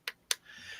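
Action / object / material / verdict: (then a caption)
tap / Bakelite rifle magazine / Bakelite / none. A Bakelite rifle magazine from a 74, made of an old-fashioned wood-fiber-based polymer, is tapped twice, giving two sharp, bright clicks with almost no ring. A faint high hiss follows after the taps.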